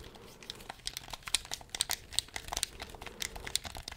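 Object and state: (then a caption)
Plastic game controller buttons. Fingertips press and click the buttons of a handheld black plastic gamepad, making a rapid, irregular run of about two dozen short, dry, bright plastic clicks with a faint crinkly texture. Each click dies away almost instantly over a quiet background.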